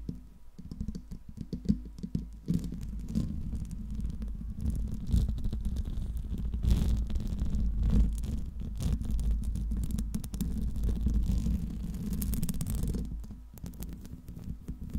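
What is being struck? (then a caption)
Metal mesh microphone grille. Long pink nails and fingertips tap and scratch the metal mesh grille and sides of a silver Blue Yeti microphone. A dense, irregular stream of soft, muffled taps and scrapes follows, heavy in low thumping tones with little high-end detail. The clip is continuous, close-up handling noise with no voice.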